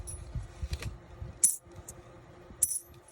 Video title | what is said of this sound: Two Box Half Dollar Hunt with awesome finds! | Hear the louder ping sound?